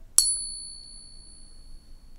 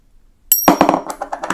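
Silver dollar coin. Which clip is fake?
The second.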